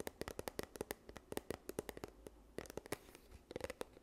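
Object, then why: Plastic tube. A yellow plastic sunscreen tube held in both hands is scratched and tapped with long nails. About twenty-two quick, dry clicks and taps land in an uneven rhythm over soft scratching, each with a hollow plastic tone around 400 Hz. Every tap stops almost instantly with no ring.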